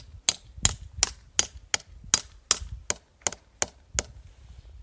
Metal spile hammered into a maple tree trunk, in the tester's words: hear that solid sound that means we have a good tap